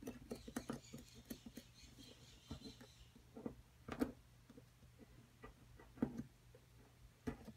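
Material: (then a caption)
Plaster. A metal pick scratches and chips at the surface of a solid plaster dig-kit block, held in a hand with long nails, working around the pieces embedded inside. Quiet, irregular scraping and dry ticking taps cluster in the first few seconds over a faint high hiss. Sparser, sharper chips stand out near 4, 6 and 7.3 seconds.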